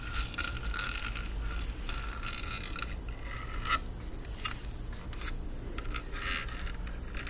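Long nails scratch and scrape across a black rubberized plastic Bluetooth speaker, producing a steady, raspy scraping texture. Brighter, whistly scratches around 1.3 kHz flare up and fade over a constant low hum.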